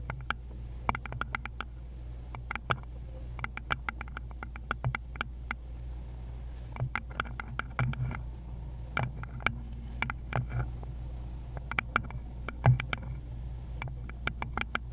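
Long pointed nails on a gloved hand tap rapidly across a small, rounded wooden bowl that is likely hollow, producing bursts of short, dry clicks with bright edges. The taps come in irregular clusters with brief pauses, each decaying almost instantly over a steady low hum.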